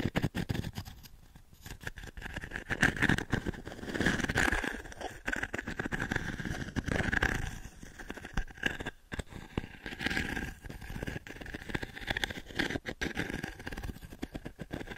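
Long nails scratch across the dense pins of a small octagonal wooden-frame pin brush held close to the mic. Repeated scratchy, bristly rasps swell and fade in waves, with a faint ringing tone near 1.6 kHz running through the strokes.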